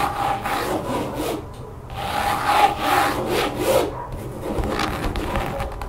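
Long painted nails of both hands scratch and tap across a large, thin, solid brown textured mat, apparently rubber or vinyl, lying flat over a table. The result is a run of rough, rasping strokes in swelling bursts of bright, hissy friction, with a faint midrange squeak and a few light taps beneath.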